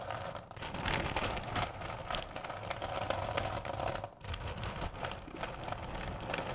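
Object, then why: Bowl of candy corn pieces. Hands with long nails dig into and scratch through a full bowl of small, solid candy corn pieces. The result is a steady, dense rattle of tiny clicking and scraping pieces with a bright, crisp texture, briefly dipping quiet a little after the four-second mark before resuming.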